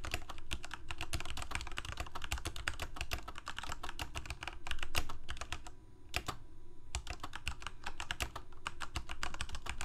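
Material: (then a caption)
Plastic. Fingertips of both hands type continuously on a full-size black plastic Corsair K68 gaming keyboard with backlit keycaps, Cherry MX Red switches and a hollow plastic case. Rapid, bright, clicky keystrokes ring over a dense low hum, with a brief pause near the six-second mark and a faint tone in the background.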